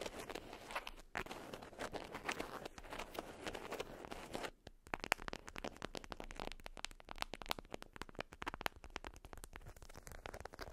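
Long nails scratch and crinkle an orange-print, beeswax-coated cotton wrap folded around a small item resting on fur, making a dense, papery rustle for about four and a half seconds. After a brief pause, the nails tap the waxy fabric in quick, crisp clicks mixed with lighter crinkles and bright, dry edges.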